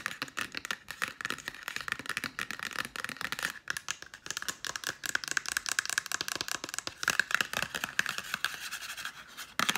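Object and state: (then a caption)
Cardboard makeup palette tapped with nails. A small, flat, black-and-white Sephora makeup palette in cardboard packaging is held in the hand and tapped rapidly with long nails. The result is a dense, continuous run of sharp, dry, papery clicks with a faint scratching texture. The sound is bright and thin, with almost no low end.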